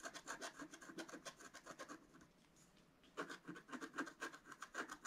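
A pointed wooden stylus scratches and hatches the black coating of a flat, solid scratch art card, about A4, with coloured foil paper beneath, lying on a table. Quick, dry rasping strokes come in two rapid bursts separated by a brief near-silent pause, with a bright, papery scratch and little low end.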